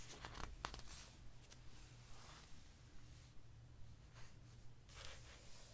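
Fingers turn a glossy paper page in an open hardcover book, and a palm rubs across the glossy surface. Soft, bright swishes and papery rustles rise and fade over a steady low hum, with a sharper crackle near the start. The clip stays quiet throughout.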